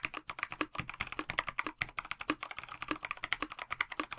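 Both hands type with their fingertips on a KBD67 Lite 65% mechanical keyboard with a plastic case, translucent backlit PBT keycaps and stock Dinokey Mint linear switches, resting on a desk mat. About 34 quick, crisp key taps run together in a steady stream, each a short, dry click centred around 2 kHz with bright upper edges and very little low end. The taps stop almost instantly, with no ring.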